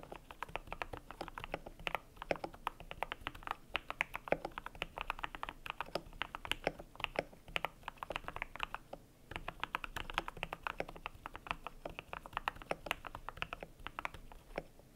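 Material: PBT plastic.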